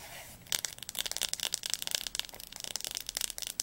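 Long nails tap quickly on the spine of a large blue Diercke hardcover atlas. After about half a second of faint hiss, a dense run of sharp, bright clicks follows, each dying away almost at once, with little low end.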